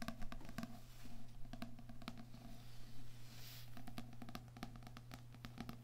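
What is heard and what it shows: Fingernails and fingertips tap and scratch the back cover of a small "Heart Thoughts" paperback lying flat, then its front card cover. The result is a quiet patter of quick, dry, short-lived taps with soft scratching between them, over a steady low hum.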